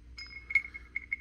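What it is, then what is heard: Intact crotal bell that still rings. An early-1800s bronze crotal bell, size 4, dug up with a metal detector, is shaken by hand and gives a clear, bright jingling ring centered near 2.2 kHz, with quick, short-decaying strikes of its loose pellet. The bell is in very nice condition and still rings, showing it is intact and the rattle pellet is still free inside.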